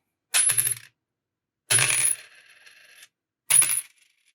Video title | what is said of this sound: My Dad's Coin Collection: Episode 3, Part 1 - Canadian Coins | these ones have the ring